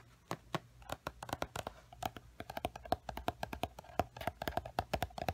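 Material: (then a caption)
Paper. Fingertips and nails tap and scratch the glossy paper cover of a large paperback coloring book, "The Time Garden." The result is a quiet, rapid series of short, dry taps with a mid-pitched papery tone and faint scratching between them.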